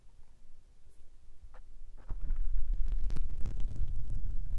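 Fingertips rub and tap the small grey foam windscreens covering a recorder's mic capsules. Soft, muffled scratching gives way after about two seconds to louder, dense low thumps and rumbling brushing that continue to the end.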